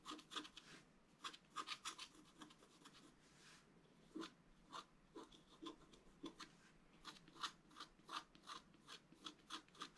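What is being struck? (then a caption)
Scratch-art card with black coating over foil, scratched with a wooden stylus. A pointed wooden stylus scratches lines into the black coating of a flat, thin, roughly A4 scratch-art card over colored foil, lying on a table and held still by the other hand. Quick, dry, bright rasping strokes come in short bursts, with a quieter stretch of lighter scraping around the middle.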